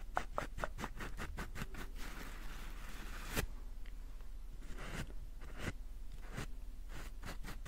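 Long painted nails scratch and tap the soft, quilted surface of a large white embossed paper towel roll with a cardboard core, held upright. Quick, dry papery scratches come in an uneven rhythm, broken by a sharper tap partway through, then slower strokes follow over a low, muffled background.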